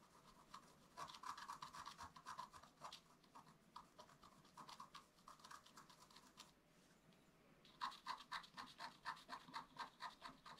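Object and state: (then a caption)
Scratch art paper card being scratched. A wooden stylus scratches a flat black-coated scratch art paper sheet lying on a table, making quick, fine repeated strokes. The result is a dry, scratchy rasp centred around 1 kHz with bright hiss, coming in bursts and fading into a brief lull before a fresh run of strokes.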